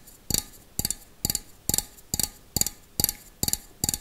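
Fingernails tap a small, hollow, empty stainless steel bowl held in one hand. Nine evenly spaced bursts of quick taps give bright, clicky, metallic pings, each cluster a flurry of two or three nail strikes that die away almost instantly. A faint hum sits underneath.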